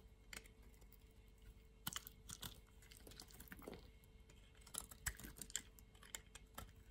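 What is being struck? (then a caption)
Bar soap cut with a steel blade. A steel utility blade slices thin slabs and slivers off the edge of a solid pink striped bar of soap held in the hand. Quiet, crisp scraping and crunching cuts come at an irregular pace, with sharp bright clicks as pieces break away.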